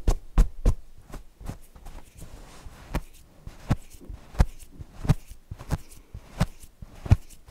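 Fingernails scratch the stitched appliqué eyes and polka-dot fabric of a stuffed cotton owl cushion. The result is a series of short, dull, muffled scratches and taps that are mostly low in tone, with quiet rustling between them.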